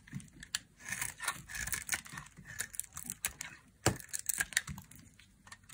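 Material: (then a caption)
Soap. A hand-sized, solid white bar of dry soap held between fingers is carved with a thin black blade, breaking off curls and crumbs. A quick run of short, dry, crisp scrapes and crackles comes through, bright and brittle with little low end, each one dying off almost instantly.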